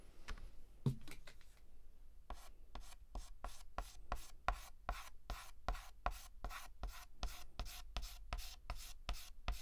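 A stick of white chalk shades a letter on a large, flat, painted black chalkboard with rapid, short strokes. A few scattered scratches give way to a steady run of quick, dry, rasping strokes, each a bright, brief scrape that stops almost at once, over a low background rumble.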